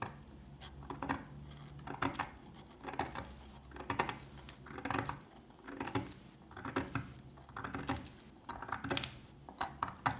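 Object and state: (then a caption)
Old dry soap bar, scraped. A solid rectangular bar of old, dry, translucent yellow-amber soap is held in the hand while its surface is scratched and picked with a thin metal pick, flaking off crumbs. Short, dry, crunchy scratching bursts come in irregular clusters about once a second. Each burst is bright and crackly, with quick-fading ticks between them.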